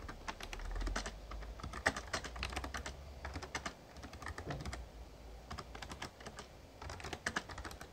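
Fingertips type steadily throughout on a full-size backlit Razer Ornata Chroma plastic membrane gaming keyboard, with plastic keys and a hollow case, resting on a desk. The quick, dry key taps come in an uneven stream of short, sharp clicks with bright tops, over a steady low rumble underneath.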